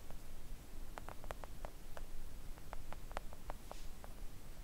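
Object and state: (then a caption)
Silicone nail art mat. Long acrylic nails of both hands gently tap a thin, solid, flat pink silicone nail art mat lying on a table. Soft, short, dull clicks come in an irregular scatter, each dying away almost at once. A steady low rumble sits underneath throughout.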